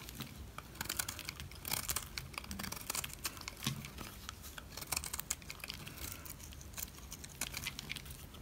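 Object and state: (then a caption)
Dry soap bar scraped with a knife. A utility knife scrapes flakes off the face of a solid black dry soap bar. The result is a dense run of dry, crinkly scraping and crunching, with many quick bright clicks and rasps over a low steady background and no ring after each stroke.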